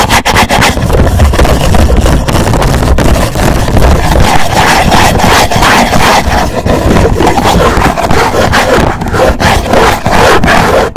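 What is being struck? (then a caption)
Rigid cardboard gift box. Fingertips of both hands rub and scratch across a hollow black rigid cardboard gift box. The result is a loud, continuous, rough scraping with a heavy low, boomy rumble from the hollow box and dense, rapid scratchy strokes running throughout.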